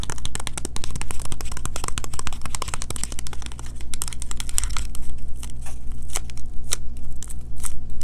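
A small green printed cardboard Kirk's Castile box with a bar of soap inside is held in both hands and rapidly tapped and scratched with long fingernails. The result is a dense run of sharp, dry clicks and crinkly scratches over a steady low hum, thinning out toward the end.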